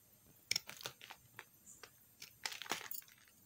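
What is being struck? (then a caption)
Soap bar scraped with a metal knife. A metal knife scrapes a small piece of pink soap held between the fingers, shaving it into crumbs. Quiet, crisp, bright scratching bursts come in quick irregular strokes, with the loudest scrapes near the start and toward the end and almost no low end.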